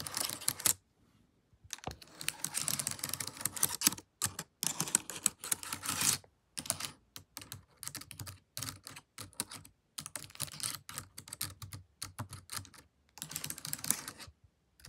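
Long acrylic nails with paperclips attached type on and tap the plastic keys of a laptop keyboard. Bursts of rapid, bright, dry clicks and clacks come in quick runs separated by short silences, with each hit dying away almost instantly.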